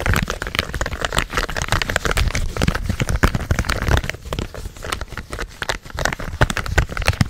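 Fingertips tap and click the buttons of a purple hollow plastic gamepad held close to the mic and scratch across its shell. It makes a steady stream of quick, dry clicks and taps with a boomy low thump, mixed with scratchy crackling over the plastic.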